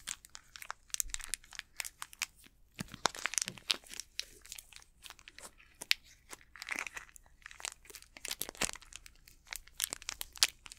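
An unopened Snickers candy bar in a plastic wrapper is squeezed and crinkled with the fingertips of both hands. The result is a quiet, steady stream of sharp, bright crackles and crinkles with almost no low end, each one dying away instantly.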